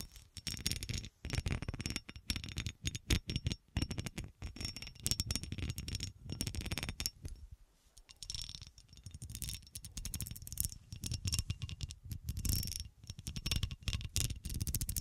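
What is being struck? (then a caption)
Cut glass horseshoe. Long nails scratch across a solid, ridged cut glass horseshoe held close to the camera. Dense bursts of rapid, raspy scraping and ticking carry a heavy low thump under a bright, high edge, with a brief quiet pause around the middle before the scratching resumes.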